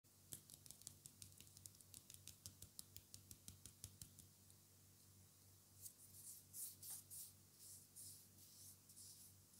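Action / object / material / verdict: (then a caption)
tap / roll of vinyl tape on a cardboard core / vinyl tape / none. Fingertips and short nails tap and scratch the outer surface and edge of a small black vinyl tape roll on a cardboard core, held in the hand. A quick run of crisp, bright taps fills the first half, then gives way to softer, hissy scratching bursts. A steady low hum sits underneath throughout.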